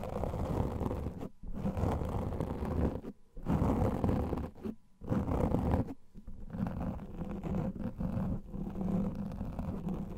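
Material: Foam.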